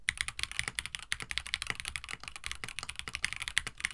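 Fingertips type continuously on a compact 65% plastic mechanical keyboard with a white plastic case, blue and white PBT keycaps and an FR4 plate. A rapid run of about 25 short, crisp clacks with bright, high-pitched clicky tops and almost no ring.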